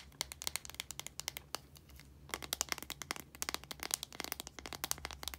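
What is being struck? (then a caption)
Plastic deodorant stick. Long nails tap rapidly on a small plastic deodorant stick, moving between its translucent plastic cap and blue casing. The taps are crisp, bright plastic clicks with almost no ring, coming in quick bursts with a short quieter pause midway, over a faint low hum.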